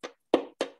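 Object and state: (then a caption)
Violin bridge tap. A wooden violin bridge is struck three times with a miniature impact hammer, as in violin body measurements. Each hit gives a short, woody tap that rings briefly around the low midrange.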